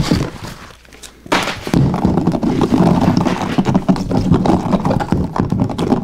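Fingertips and nails quickly scratch and strum the plastic bristles of a blue plastic paddle hairbrush held over a wooden table. The result is a dense run of soft, low thunks and clicks that briefly drops quiet near the one-second mark, then resumes as a steady, busy patter with little high-end brightness.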